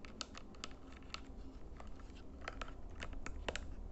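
Fingernails tap and click on the colored buttons and edges of a small plastic IR LED remote control held in the hands. Quick, dry, bright clicks come at an uneven pace and stop almost instantly, over a steady low hum.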